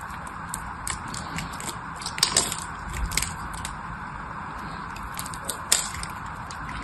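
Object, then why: Bar of soap. A blade carves into the corner of a solid teal-green bar of soap held in both hands, and the carved flakes are broken off. A steady, gritty scraping runs throughout, broken by bright crackles and a few sharper snaps that stand out above it.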